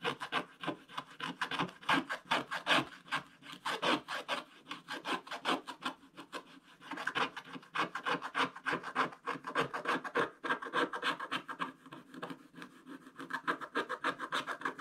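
A wooden scratching stick, held in one hand, scrapes the black coating off a coloured card page around a tractor in a spiral-bound scratch-art book lying flat on a table. Short, repeated scratching strokes make a dry, raspy rubbing sound centred in the midrange with a bright edge, coming in uneven bursts with little low end. The thin, solid page gives each stroke only a brief, unringing scrape.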